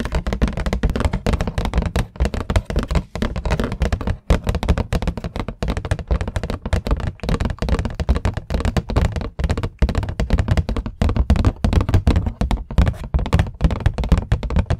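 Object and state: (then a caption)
Hardcover book. A solid, medium green hardcover book is held in both hands in front of a microphone while long nails and fingertips tap its cover. A fast, continuous flurry of short, dull taps with a deep, thumping low end and very little brightness, each tap dying away almost instantly, with the force of the taps varying throughout.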